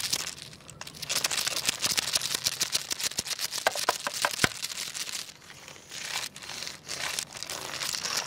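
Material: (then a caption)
Wood. Fingers wiggle and tap a long carved wooden segmented crocodile toy resting on tiles, making its jointed segments click. Quick, dry, bright clicks and rattles come in dense bursts with a crinkly texture. Around the middle they ease into softer, hissy rustling before picking up again.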